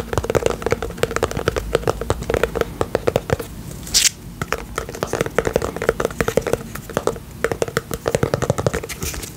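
Fingernails scratch and tap along the lid rim and side of a small round pink plastic tub with a lid, filled with slime. Rapid dry clicks and scrapes run almost continuously with a hollow plastic tone near 470 Hz, broken by one brief bright hiss partway through.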